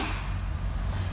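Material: Nothing is struck.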